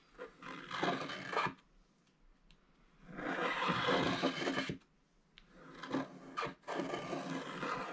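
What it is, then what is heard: Scratch-art card being scraped. A wooden stylus scrapes a wide area of black wax coating off the gold foil paper of a flat scratch-art card in continuous strokes. A dry, rasping scratch comes in three long bursts separated by near-silent pauses, with a bright, gritty texture.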